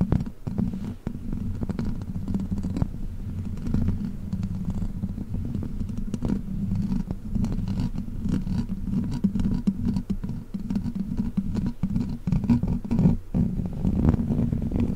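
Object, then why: Metal mesh microphone grille. Long black plastic claw tips scratch and tap across the hollow metal mesh grille of a large silver microphone. They make a dense, continuous low rumble of scraping with many quick ticks scattered through it, and each tick dies away almost instantly.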